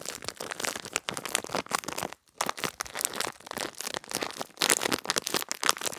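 A small clear plastic retail bag with a cardboard header, holding a pink gel-bead pad, is held in both hands and crinkled and squeezed with fingertips and long red-painted nails. A dense run of bright, crackly crinkles and soft crunches fills the clip, broken by one brief near-silent pause about two seconds in, with almost no low end.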